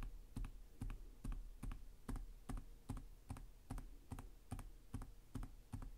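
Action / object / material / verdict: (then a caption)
tap / plastic laptop keyboard keys / plastic / none. One hand types slowly with its fingertips on the plastic chiclet keys of a black laptop with a hollow chassis. It makes soft, hollow, low-heavy taps that often come in close pairs, each with a short bright click. The taps fall in a loose, steady rhythm over quiet background noise.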